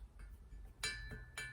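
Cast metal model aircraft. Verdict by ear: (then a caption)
Sound. A solid metal casting of a custom Air Canada Viscount display model, cloned from a Westway MEA Viscount 700, is tapped and rings like a bell with a clear tone near 1.7 kHz. Two main taps are heard, each leaving a short ringing decay. The bell-like ring marks it as a fine casting.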